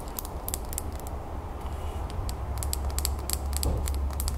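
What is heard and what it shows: A small clear glass terrarium bowl filled with soil and pebbles is lifted and held in the hands while long nails tap and scratch the outside of the glass. Quick, irregular bright clicks and light scraping ring briefly over a steady low rumble of handling noise that grows slightly louder toward the end.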